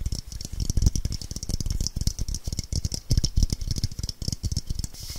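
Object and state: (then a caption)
Frosted LED light bulb. Long painted nails rapidly tap and scratch the frosted dome of a hand-sized, hollow white LED light bulb with a metal screw base, held in both hands while the palm also rubs over it. The dome may be glass or plastic. A dense, rattling stream of short, dull clicks with a low thump carries a bright, hissy scratching layer above it throughout.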